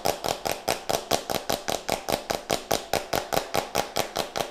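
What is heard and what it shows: Nails and fingertips scratch, tap and twist the white plastic screw cap of a small plastic jar close to the mic. There are 23 quick, evenly spaced scratchy taps, each a short bright rasp with a faint plastic tone around 660 Hz that dies away almost at once.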